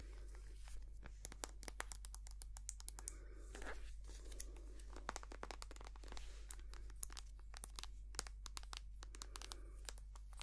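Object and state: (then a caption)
Plastic cream tube. Long painted nails tap and scratch a small white soft plastic squeeze tube of hand cream, held upright, hollow and filled with cream. The result is a rapid, irregular stream of sharp, bright clicks with crinkly scratching between them, over a steady low hum.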